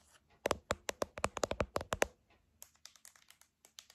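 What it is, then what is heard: Plastic TV remote control tapped. A silver plastic TV remote control is held in both hands while long nails tap and press its buttons. A quick run of sharp, hollow plastic clicks comes first, followed by a series of lighter, softer taps with bright, dry edges and no ring.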